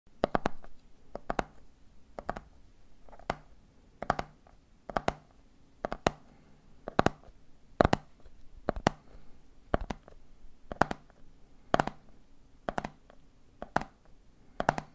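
Fingertips tap on a medium clear plastic jar full of peanuts, first on the hollow side and then on the red plastic screw lid, while it is held on a wooden table. Quick, dry clicking taps come in a steady three-beat rhythm with a faint low hum underneath. Each tap dies away almost instantly.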